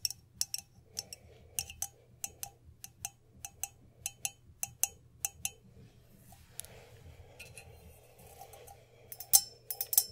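Long pink nails tap the body and rim of an empty, hand-held copper Moscow mule mug with a handle. About two dozen bright, metallic clicks with very short ring come at an uneven pace, with a quieter stretch in the middle before a louder cluster near the end.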